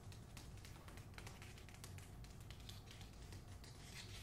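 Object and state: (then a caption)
Paper-jacketed hardcover book. Long acrylic nails quickly tap and scratch the back cover of a closed hardcover copy of *The Hacienda* with a glossy paper dust jacket. The result is a quiet, continuous run of bright, crisp clicks and papery scratches over a steady low hum.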